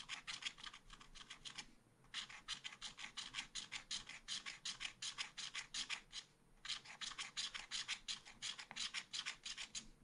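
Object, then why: Black-coated scratch art paper card scraped with a wooden stylus. A wooden stylus scratches rapidly back and forth across a small black-coated scratch art paper card, filling in an area. It produces a bright, dry rasping of quick, fairly regular strokes, with two brief pauses between bursts.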